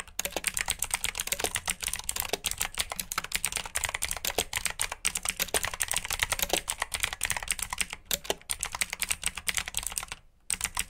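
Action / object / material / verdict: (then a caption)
tap / plastic mechanical keyboard / plastic / none. Fingertips with short nails type steadily on a full-size black plastic mechanical keyboard with RGB backlit keycaps, clicky blue switches and hollow key housings. Fast, bright, crisp clicks run densely throughout, with a brief pause near the end before typing resumes.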